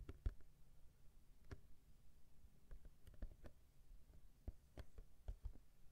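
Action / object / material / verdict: tap / cardboard tissue box / cardboard / none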